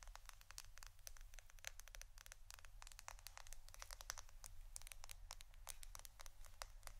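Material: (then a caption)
Plastic. A roll of plastic adhesive tape is tapped and scratched. Rapid, crisp, bright ticks and scratchy clicks come in dense bursts over a quiet, steady low hum. Each tick is very short and dry.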